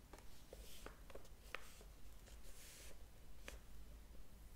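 Fingers rub the paper pages of a large open hardcover book and flip one over. Soft, airy rustling carries several brief, crisp paper ticks over a quiet low hum.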